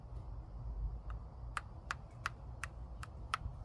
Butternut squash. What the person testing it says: It's kind of like a hollow sound. Like a watermelon, like you're checking a watermelon.